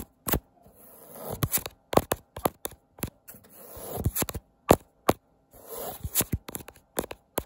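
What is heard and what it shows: Fingertips and nails scratch and tap across the textured weave of a thin, printed woven fabric wall tapestry bearing the word "TOGETHER". Short, sharp broadband ticks alternate with softer, swelling rubbing passages that build up between them, all at a modest level with a bright edge.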